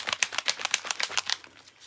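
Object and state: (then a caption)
Ink bottle with loose mixing ball. A bottle of Blanco Blanco white alcohol ink is shaken so its mixing ball comes loose, giving about nine quick, bright rattling clicks that fade out after about 1.4 seconds. The freely rattling ball shows the pigment is no longer stuck to the bottom of the bottle.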